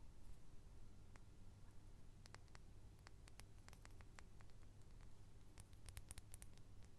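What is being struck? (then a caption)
Small glass perfume bottle with metal cap. A small clear glass perfume bottle with a metal cap is held in one hand and tapped with the fingertips and nails of the other hand. Quiet, sharp, bright ticks come in irregular bursts over a steady low hum and background hiss.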